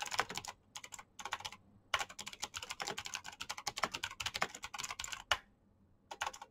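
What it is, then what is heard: Plastic mechanical keyboard. Fingertips type fast on a black plastic mechanical keyboard with clicky switches. The result is rapid bursts of sharp, bright clicks with almost no low end, broken by short pauses. A longer pause comes near the end before a final brief flurry.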